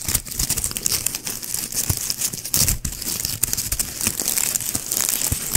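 A small white shiny plastic ribbon gift bow with hollow looped petals is held in one hand beside the mic while fingertips squeeze and scratch the loops. This produces a dense, continuous bright crinkling and crunching with many quick overlapping crackles and a few soft low thumps from handling.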